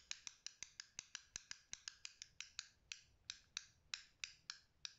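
Short-nailed fingertips click the green buttons and flick the switch on a small black plastic fidget cube that also has a dial. 22 sharp, bright plastic clicks come in a steady, slightly uneven rhythm. Each one is crisp and dry, with almost no low end and no ring.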